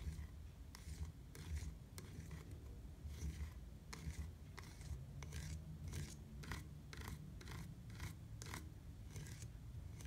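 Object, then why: Hard plastic bicycle pedal. Fingertips tap and scratch on a black hard plastic platform bicycle pedal with grip studs. Quiet, repeated short, dry scratchy bursts sound over a steady low rumble.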